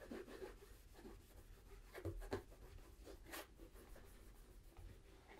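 A cloth wrapped around the fingers polishes the toe and upper of a hollow, empty tan polished leather brogue boot, a Tricker's Stow in Acorn, held in one hand. Quiet, irregular rubbing and soft swishing strokes are heard, mostly low and muffled, with a few slightly louder scuffs.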